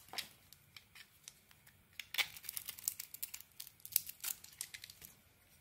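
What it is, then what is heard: Bar soap being shaved with a blade. A small metal blade shaves strips off the surface of a solid bar of soap, coated in purple polka dots with a white core and held in the hand. The result is a quiet, uneven series of short, crisp scraping and crackling bursts that are dry and bright, with almost no low end. Each burst stops abruptly, leaving near silence between strokes.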